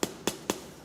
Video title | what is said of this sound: Chroniques d'en haut : nos cousins valdotains | un peu de vide peut-être